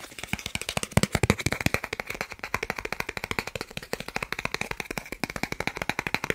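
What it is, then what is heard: Plastic card, tapped. A thin, solid, flat green plastic gift card about credit-card size, held in both hands in front of a microphone, is rapidly tapped and scratched with fingertips and short nails. The result is a fast, steady run of 49 short, dry, clicking taps with a bright edge and almost no ring, mixed with faint scratchy texture.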